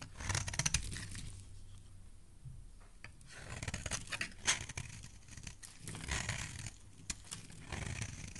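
A metal blade scrapes along the side of a solid pink marbled soap bar, making crisp, crackly shaving sounds. Bright scratchy bursts come and go over a low, soft rumble, with a few sharper clicks standing out.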